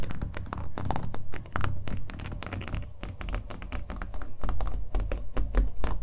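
A small acrylic-painted canvas on a hollow-backed wooden stretcher frame, held in both hands, is tapped rapidly and irregularly with fingernails. The result is a steady run of quick, dry clicks over deep, hollow low thumps, each tap dying away almost instantly.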